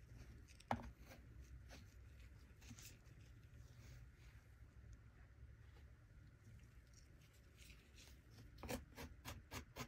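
A small plastic shovel held in the fingers scrapes and cuts through packed kinetic sand filling a small plastic toy chest. Soft, low scraping and crumbling runs throughout at a quiet level, with a sharp click early on and a cluster of bright, crisp ticks near the end.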